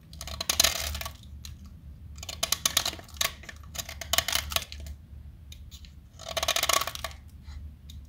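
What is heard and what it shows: A small, solid light-blue blackboard chalk stick is held by hand and carved with a metal box-cutter blade, sending chalk flakes falling. Bursts of dry, bright scraping and cutting come in several clusters, separated by quieter stretches with light crumbly ticks. A steady low hum sits underneath throughout.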